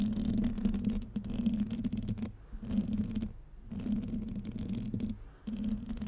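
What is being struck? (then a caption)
Metal mesh microphone grille. Painted fingernails and fingertips of both hands scratch directly on the rounded, hollow metal mesh grille of a black microphone held up close. The result is a dense, rough scratching with a boomy, resonant low hum around 200 Hz. It comes in bursts separated by brief quieter pauses.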